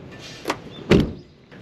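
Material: Sheet steel.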